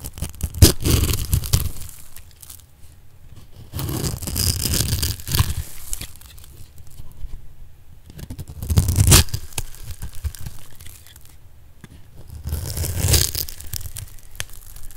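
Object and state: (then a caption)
Bar of dry soap being cut. A solid, rounded light-blue bar of dry soap held in the hand is diced into small cubes with a metal blade. Crisp, crunchy scraping and tearing cuts come in bursts separated by quieter gaps, with a strong low-end body and a bright, crackly edge.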